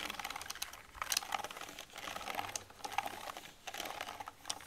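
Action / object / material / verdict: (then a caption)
scrape / plastic computer keyboard / plastic / none. A soft makeup brush with a metal ferrule is brushed and dabbed over the keys of a black plastic computer keyboard while the other hand rests on the keyboard. Soft, airy swishes mix with quick, bright plastic clicks and rattles as the keys shift under the brush. The sound is dry, with no ring after each tap.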